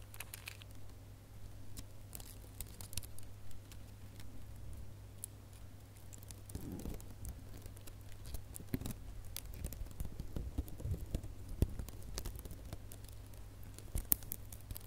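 Fingertips and nails squeeze and scratch the loops of a small, light, hollow red gift bow made of metallic plastic ribbon. The result is soft, quiet crinkling and crackling with bright, scratchy ticks, over a steady low hum that runs through the whole clip.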